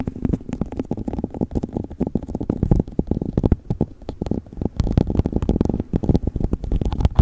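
An empty, hollow clear plastic cup sits upside down on a fluffy windscreen while fingernails tap and scratch its base and sides. The result is a dense, uneven run of quick, dull, low-pitched thumps and rustling scratches that die away almost instantly, with nearly all the sound in the low and lower-middle range.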